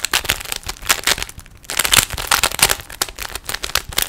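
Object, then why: Plastic puzzle cube. Fingertips twist the layers of a small hollow plastic 3x3 Rubik's cube with stickers, producing a rapid run of sharp, bright plastic clicks and crackly clatter. A brief quieter pause comes partway through before the twisting resumes.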